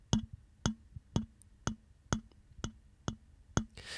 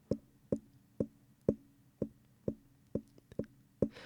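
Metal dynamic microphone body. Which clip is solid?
The second.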